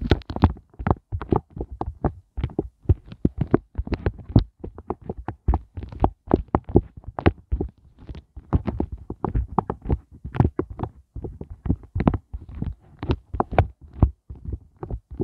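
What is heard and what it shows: Fingers tap and scratch the raised hollow hearts of a pink silicone heart ice cube mold with nails and fingertips. The result is a fast, steady stream of dull, low, thumping taps that die away almost at once, mixed with brief brighter scratchy clicks.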